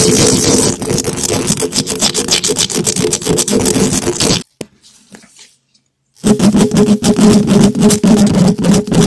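Two gloved hands quickly scratch the hollow metal wire-mesh head of a large black condenser microphone, with no windscreen, using the sharp points of two thin wooden skewers. This produces a dense, rapid, raspy scratching with a heavy low buzz. The scratching stops for nearly two seconds of near silence, then resumes just as fast and loud.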